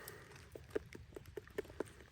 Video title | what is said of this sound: Finding specimens after the cold - Bug Challenge 1 - Insects4Sale.com | doesn't that sound pretty hollow?